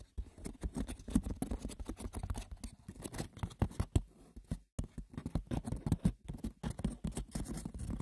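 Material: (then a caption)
Wicker. Fingers scratch and tap the textured woven surface of a wicker basket, producing a dense patter of light, dry clicks and scratches. The sound sits mostly low with a dull, muted character, and each tap dies away almost instantly. The activity stops briefly past the midpoint before continuing, and there is no voice.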